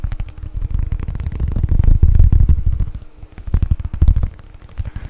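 A flat, solid, thin square cork board tile, about 20 cm across, is held close and rapidly tapped and scratched with fingertips. It makes a dense, irregular patter of dull, low thuds with soft crackly scratching. The sound swells to louder rumbling bursts near the middle and again near the end, with no ring after each tap.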